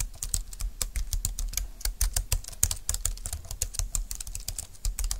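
A compact, thin, dark-green plastic Bluetooth keyboard lies on a desk mat while both hands type on its keys with fingertips and long nails. A steady, rapid stream of short, dry clicks and taps is heard, each with a bright high tick over a soft low thud that dies away almost instantly.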